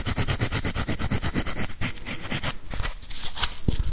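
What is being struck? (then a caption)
Plastic whiteboard eraser with felt pad. Fingertips and nails scratch the felt pad and plastic body of a grey plastic whiteboard eraser held felt side out. A fast, regular run of rough scratching strokes gives way to denser, smoother rubbing and rustling, with a few sharper scrapes near the end. The sound is close, full-bodied and heavy in the low end.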